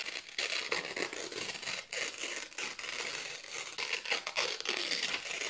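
Several thin white printed office paper sheets are held in both hands and slowly torn by fingertips with long nails. A steady, bright, crackly ripping sound comes in uneven bursts with short dips between them and almost no low end.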